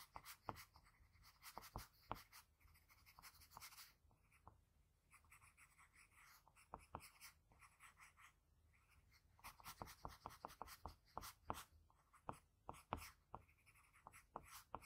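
A graphite pencil tip scratches fine, short strokes around the eye area of a face sketch on a sheet of drawing paper. Quiet, dry scratching is broken by many sharp, bright ticks as the tip meets the paper, with softer grainy rubbing between strokes and brief pauses.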